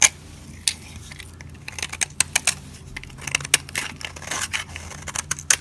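A solid, pale yellow, dry soap bar held in the hand is carved and scraped with a metal utility blade, peeling off curled flakes. The clip is a series of bright, dry, crackly scrapes and sharp ticks, each stopping almost instantly with no ring and very little low end.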